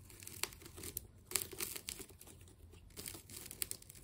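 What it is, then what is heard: Plastic tape ball being cut. A utility knife blade slices through a hand-sized ball of wound black and white plastic tape, producing bright, dry crinkling and tearing sounds. Sharp, brief snaps stand out over a soft, continuous rustle, each ending almost instantly with no ring.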